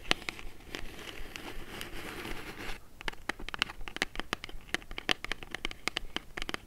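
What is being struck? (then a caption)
Small kraft cardboard box. Long nails scratch the surface and edges of a small, hollow brown kraft cardboard box held and tilted in the hands. A steady, papery scratching hiss runs for about the first three seconds, then gives way to a quick run of sharp, dry clicks and scrapes. The clicks are bright, centered around 3 kHz, and die out almost instantly.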